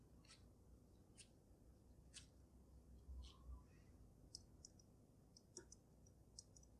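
Long nails tap on both sides of the glass dome of a water-filled dragon snow globe with glitter. Quiet, irregular, bright little clicks and ticks come through, with short ringing, over a steady low hum.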